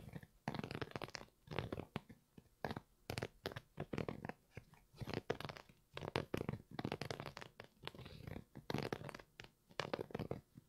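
Fingertips and nails scratch and rub the knit upper of a single grey and red Primeknit textile Yeezy 350 V2 sneaker with a boost sole, held up empty and hollow in one hand. Dry, crackly, scratchy rustling comes in short bursts with brief quiet gaps between them, carrying a soft low body and no ring after each stroke.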